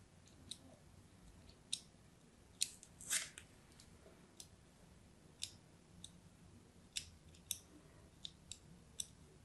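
A thin pointed blade scratches scoring lines across the surface of a solid orange-and-white striped bar of soap held in the hand. About thirteen short, crisp, bright scraping ticks stand out over a quiet background, with one slightly longer rasping stroke near the three-second mark. Each scratch stops almost instantly with no ring.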